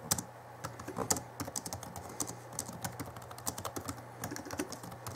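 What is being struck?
Plastic laptop keyboard keys.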